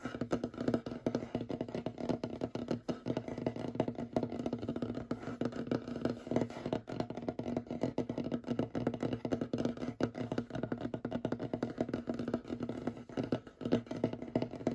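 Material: Wood.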